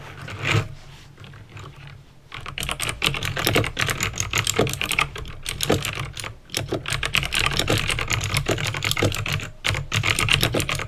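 Fingertips with painted nails type on a backlit plastic mechanical keyboard with clicky green switches. A steady stream of fast, sharp, bright clicks rides over a low hollow thud from each key, with a short lull around the second second. Each click dies away almost instantly.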